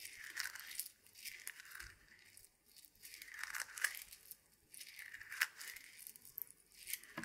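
A handful of small, solid, dry roasted coffee beans is held in a closed fist and squeezed and rubbed together by the fingers and palm. It makes a quiet, bright crunching and rustling that rises and falls in several uneven swells, with short gritty clicks standing out between them.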